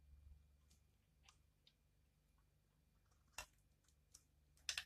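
A utility knife blade scrapes thin curls off the surface of a hand-sized, solid, pale pink dried soap bar held in one hand. Five short, bright, crisp scrapes and clicks stand out over a quiet, low background hum, with the loudest near the end.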